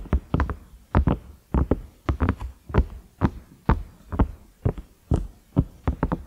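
Fingertips and nails tap the round knob of a large cream ridged microwave lid, likely silicone. Dull, low, hollow thumps come in quick, uneven clusters, each dying away almost at once with no ring.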